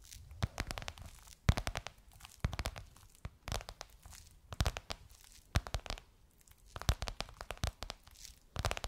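Long nails tap and scratch across a gold crocodile-embossed faux leather cover on a soft cushion. Quick bursts of crisp taps and crinkly scratching come in clusters with short pauses between them. Each has a soft low thump and a bright papery edge that dies away almost at once.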